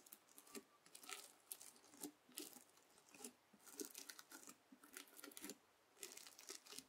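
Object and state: Bead slime (floam) being poked.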